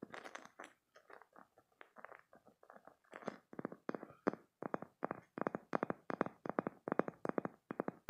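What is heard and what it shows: A green spiky silicone stress toy is squeezed and scratched with short painted nails, making quiet, crisp crunching and scratching bursts. The sounds start irregular and scattered, then settle into a steady, rhythmic run of short sharp squeezes with dry, bright edges.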